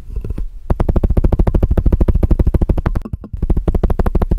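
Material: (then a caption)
Plastic. Fingertips and nails tap quickly on the side walls of a clear, empty plastic measuring jug with red scale markings that is placed over the microphone. The rapid, uneven taps land as short, dry, boomy thuds with most of their energy deep in the low end, with a brief pause just after the three-second mark.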